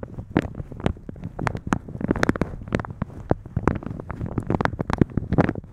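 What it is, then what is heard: Plastic shower cap. Fingertips and nails rub and scratch the top of a thin, translucent polka-dot plastic shower cap stretched over a microphone, and pull at its elastic edge. The result is a close, dense crinkling and rustling, full of quick, sharp scratchy ticks over a soft, muffled low rumble.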